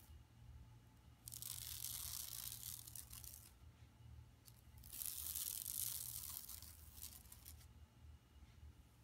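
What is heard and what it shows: Long nails scratch across the printed woven plastic mesh of a flat, empty yellow tote-style shopping bag lying on carpet. Two bright, raspy bursts of scratching rise and fade, with quieter scraping between and after them. A steady low hum runs underneath throughout.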